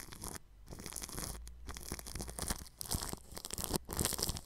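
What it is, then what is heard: Cling film over a microphone, brushed. A bristle paintbrush brushes the grille of a round microphone wrapped in clear plastic cling film stretched over it. Close, scratchy, crinkling strokes fill the high range over a low rumble, broken by a few brief quiet pauses between passes.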